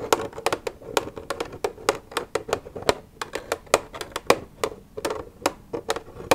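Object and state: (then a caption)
Plastic milk jug. Long red nails tap and scratch an empty, hollow white plastic milk jug lying on its side. About 25 quick, dry clicks land in an uneven run, each with a hollow plastic knock around 480 Hz and a bright edge that dies almost instantly. Faint scratching fills the gaps between taps.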